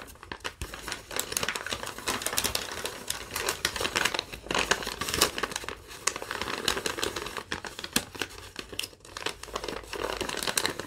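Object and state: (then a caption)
Thin paper sheet being crinkled. A thin sheet of yellow lined paper, rolled and folded, is crinkled and rubbed by fingertips and long nails. This produces a steady run of dense, bright crackles and papery rustles with brief sharp snaps and little low end. The sound rises and falls in short bursts throughout.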